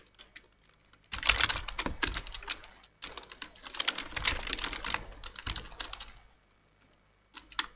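Fingertips type continuously with both hands on a black plastic full-size computer keyboard with hollow keys, making rapid, bright, clicky taps. A few faint taps lead into a dense burst of typing, a short pause, a longer stretch of steady keystrokes, then quiet before a brief final flurry.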